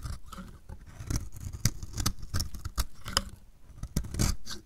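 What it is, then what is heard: Dry bar soap being shaved. A metal utility blade shaves flakes off the edge of a solid, dry, purple striped bar of soap in repeated strokes. Each stroke makes a short, crisp scraping crunch with a low thud and bright edges, with quiet gaps between the cuts.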